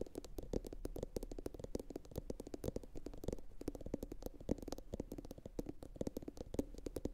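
A medium, hollow, empty blue glossy bowl, likely ceramic, sits upside down and is tapped rapidly with long pointed acrylic nails from both hands. The result is a steady stream of quick, dry clicks with a soft hollow tone around 270 Hz, each dying away almost instantly, over a low rumbling undertone.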